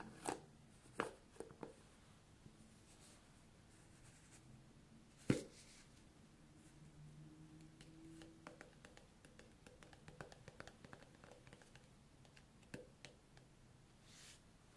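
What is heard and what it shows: A medium white plastic jar of skin cream with a blue plastic screw lid, apparently full and closed, is held in one hand and tapped and scratched on its lid and body with long painted fingernails. Sharp, bright clicks are scattered among quiet stretches of soft scratching, with one louder knock near the middle. The taps die away almost instantly, and a faint low hum sits underneath.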